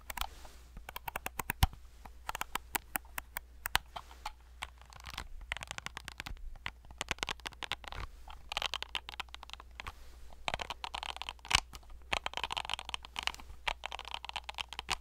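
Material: Plastic.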